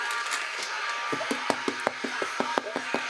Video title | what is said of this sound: Wild Boar-Chorizo-Burger & Apple-Celeriac-Slaw - The Punkrock-Kitchen (even Punks have a good taste) | if it sounds Hollow perfect